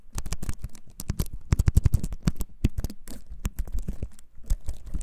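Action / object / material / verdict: tap / wooden-framed computer keyboard / wood / none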